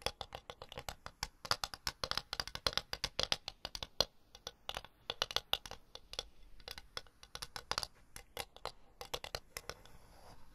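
A solid, empty floral ceramic plate, held flat and then upright, is tapped and scratched with long blue nails on its rim and face. About 53 quick, bright clicks and scrapes come in irregular bursts, each dying away almost instantly, with a soft high scratching texture near the end.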